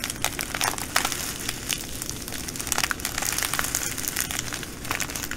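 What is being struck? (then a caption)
Plastic bag of glass beads. Fingernails and fingertips squeeze and crinkle a clear plastic bag of green glass bugle beads held up close. The result is a steady, dense rustle of crinkling plastic with bright, sharp clicks and crackles as the beads shift against each other.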